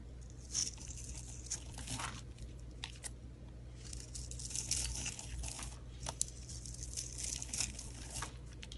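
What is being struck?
Bar of soap.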